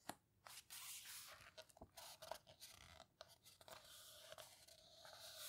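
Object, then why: Large book with heavy paper pages. Long-nailed fingers rub and squeeze the page edges of a large open photo book, the paper houseboat book, with heavy, coarse paper, then turn its pages. The result is a quiet, bright, papery rustle broken by short, crisp scratchy taps and scrapes, with almost no low end.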